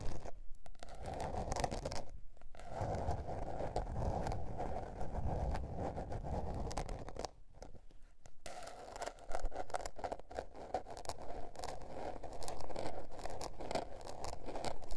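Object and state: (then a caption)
Spiral paper notebook. Long nails scratch the textured blue patterned paper cover of a small spiral-bound notebook, making a steady, dense, low scratchy rasp. The scratching pauses briefly near the start and goes quieter for about a second midway before resuming in quick, rough strokes.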